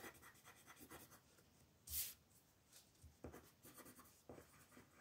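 A wooden colored pencil scratches and rubs over a flat paper coloring book page while shading a lamb, the page held by a hand with long nails. Soft, steady, papery scratching strokes run throughout, with a louder, bright swish near two seconds and a few sharper scrapes after it.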